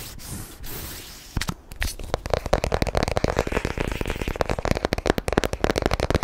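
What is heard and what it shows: A long, narrow, hollow white cardboard product box is held in one hand and scratched and tapped with short natural fingernails and fingertips. Soft, dry scratching opens the clip, then gives way to a rapid, uneven run of crisp, hollow taps with a papery, clicking tone and almost no ring.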